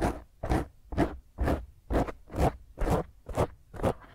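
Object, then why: Foam microphone windscreen. A hand grips the top of a black foam microphone windscreen while long fingernails scratch it intensely. Nine rough, crunchy scraping bursts repeat at a steady rhythm, each with a deep, muffled rumble and a bright rasp, separated by brief quiet gaps.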